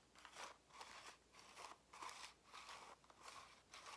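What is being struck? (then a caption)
Plastic calculator case. Long nails tap and scratch the plastic back and sides of a black and grey plastic scientific calculator, a hollow case with buttons, held in both hands before it is turned to show the front. Quiet, bright scratchy bursts repeat unevenly, with a papery crunch centered around 1 kHz and almost no low end.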